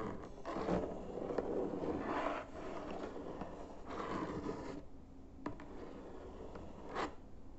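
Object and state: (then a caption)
Cardboard box. Fingertips and short nails tap and scratch across the top of a closed, hollow white cardboard box with printed text on the lid, lying flat. Soft, papery scraping and rubbing swells in broad bursts through the first five seconds. It then quiets to a faint hiss broken by a few sharp, dry taps.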